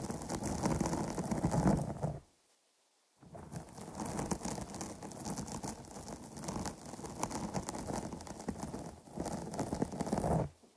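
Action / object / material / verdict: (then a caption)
scrape / foam microphone windscreen / foam / none. Long polished nails on both hands scratch across the top and sides of a soft, porous, medium-sized dark grey foam microphone cover. The result is a dense, muffled, low-heavy rustling with bright crackly edges. It stops for about a second near the two-second mark, resumes steadily, and ends with a brief dip and fade.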